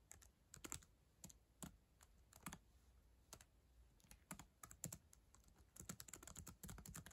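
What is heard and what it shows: Long acrylic nails and fingertips press and tap the plastic chiclet keys of a black ThinkPad laptop lying on a yellow blanket. Quick, dry clicks come in uneven bursts, each pairing a bright tick with a soft low thump and stopping almost instantly. The typing stays quiet and close throughout.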